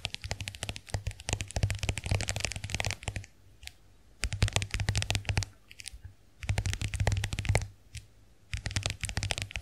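Long nails tap and scratch the lid of a small, round, closed white plastic compact hand mirror with a dotted case. Bursts of rapid, crisp clicks and scratchy rubbing alternate with short pauses, over a low hum.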